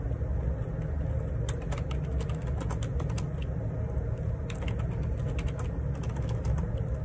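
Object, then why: Plastic computer keyboard keys. Fingertips type on the plastic keycaps of a black Perixx Periboard 612 wireless Bluetooth dual ergonomic split keyboard resting on a grey desk. Bursts of quick, bright plastic key clicks come in two runs over a steady low rumble that fills the whole clip.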